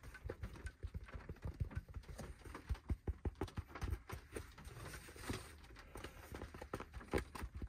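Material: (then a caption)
Fabric. A black fabric baseball cap with a logo, resting on a lap, is tapped and scratched with fingertips and nails on the crown and logo. The result is a quick run of soft, dull, low taps mixed with faint scratchy rustling, each tap dying away almost at once.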